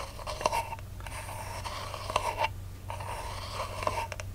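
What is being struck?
Cardboard ribbon spool end disc.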